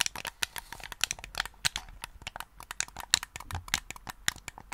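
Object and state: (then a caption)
Plastic game controller. A hollow, hand-sized black hard-plastic gamepad is held in both hands close to the microphone while fingertips click its buttons and tap the casing. The result is a quick, irregular run of sharp, bright, dry clicks and taps that stop instantly with no ring, over faint crinkly handling noise.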